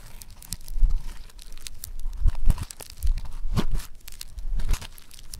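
A ball of yellow foam-bead clay is pressed with the thumb, then pulled and crumpled. It gives off dense crackling and crunching, with quick tearing snaps over a low, rumbling handling sound.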